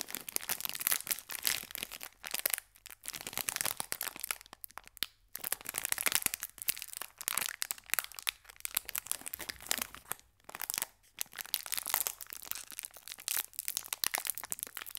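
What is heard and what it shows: A small green metallic foil biscuit wrapper is held by both ends and squeezed with the fingertips, crinkling and crushing. Dense, bright crackles come in bursts with brief quiet pauses between them.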